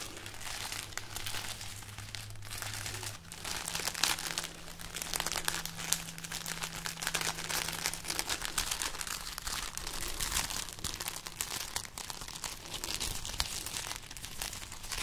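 Long nails scratch and rub along a hanging string of dried red chili peppers, whose hollow, papery pods give off a steady, bright crinkling and crackling with dense little snaps. The rustle runs continuously for the whole clip over a faint low hum.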